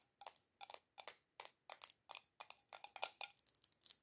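Long acrylic nails tap and scratch quickly on the rim of a small glass jar candle filled with solid red wax and on its black metal screw lid. The result is a run of short, bright clicking taps and scratchy bursts with a faint glassy ring that dies away almost at once, all with no low-end weight.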